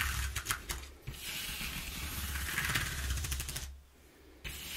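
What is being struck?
Corrugated cardboard sheet.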